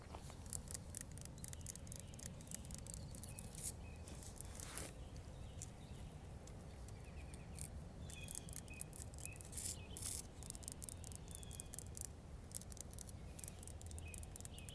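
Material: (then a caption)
Granite. Long nails tap and scratch the rough surface of a medium-sized, solid grey granite boulder sitting on the ground outdoors. Quick, dry, crisp ticks and scrapes come in dense clusters over a steady low background rumble, with faint high chirps now and then.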